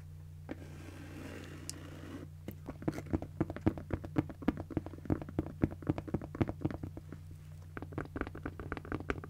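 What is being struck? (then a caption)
Padded nylon fabric cosmetic bag. Long nails scratch a pink padded nylon fabric cosmetic bag with a zipper, starting with a soft, faint rustle before breaking into quick, irregular scratching strokes at about four per second. Each stroke is a short, dry scrape with a brief bright edge, set over a steady low hum that runs throughout.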